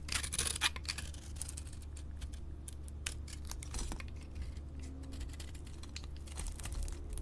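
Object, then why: Bar of soap. A solid soap bar with a blue glitter coating and pink interior, held in the palm, is scraped with a utility-knife blade. The result is a steady run of dry, crisp, bright scratching and shaving strokes over a constant low hum, loudest in the first second and again near the end.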